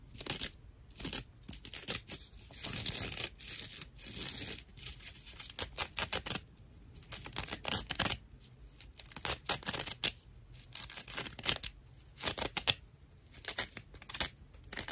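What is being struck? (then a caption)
Natural loofah sponge. Fingertips and nails pinch and scratch a dry natural loofah sponge, a fibrous plant material, up close. Rough, bright, crackly scratching comes in irregular bursts with short quiet gaps between them, and the dry fibers give a tearing, crinkling texture.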